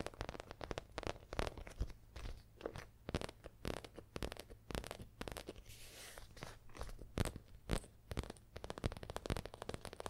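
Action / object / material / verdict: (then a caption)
tap / fabric zippered pencil case / fabric / none. A leaf-print fabric and faux leather zippered pencil case, a soft hollow pouch, is tapped and scratched with long acrylic nails. The result is a steady run of quick, dry, crunchy taps and scratchy rustles, with low, muffled body and short, dead decay.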